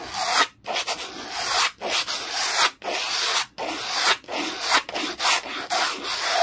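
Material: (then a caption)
Plastic. A black plastic clear-holder document folder resting on a towel is brushed rapidly with an orange textured tool in a rubbing motion. The result is a series of fast, bright, scratchy swishes separated by short gaps, with no low-end content.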